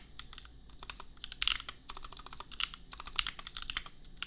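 A $250 custom compact mechanical keyboard with Gateron Milky Yellow switches and red and pink plastic keycaps is typed on with the fingertips of both hands. Steady, bright, clacky keystrokes come in quick irregular bursts, each click short and dry with almost no ring.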